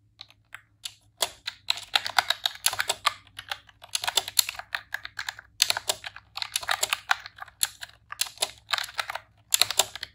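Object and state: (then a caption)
Plastic keyboard being typed on. Rapid key presses on a pink retro-style plastic computer keyboard with round keycaps, typed with long press-on nails and fingertips. Bright, dry clicks and clacks come in quick bursts separated by brief pauses. Each stroke stops instantly with no ring.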